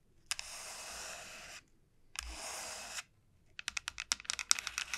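Long nails scratch and tap the surface of a large, elongated dried bottle gourd with a hard, hollow shell. Two sustained, bright, hissy scratches are followed by a quick run of sharp, dry taps with almost no ring.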